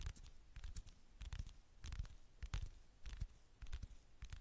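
Long manicured fingernails tap and scratch the flat, thin gold metallic back of a handheld smartphone near its camera lens. Quick irregular clusters of soft clicks and scrapes repeat, each with a dull low thump and a bright crisp edge that dies away almost instantly.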